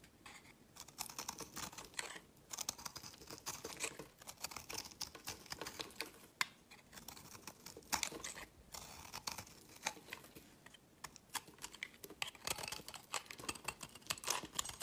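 A metal blade scrapes crumbly chunks off a solid, partly carved pink-and-white marbled soap bar held in the hand. The scraping comes as a dense run of crisp, dry crackles and scratchy strokes, bright and high with almost no low end. Each stroke stops sharply with no ring.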